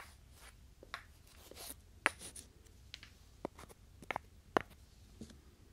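Two small, solid, light-coloured wooden cubes are held in the fingertips and slid and rubbed against each other in front of a binaural microphone. Quiet, dry scraping and sliding is broken by seven short, sharp wooden clicks with almost no ring, the clearest near the middle and toward the end.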